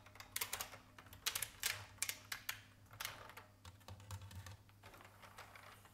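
A vintage beige IBM mechanical keyboard with plastic keycaps is typed on with the fingertips of both hands, which have long red nails. Bright, sharp clacks come in quick irregular bursts that fade within a split second, softening into lighter, quieter taps toward the end over a faint low hum.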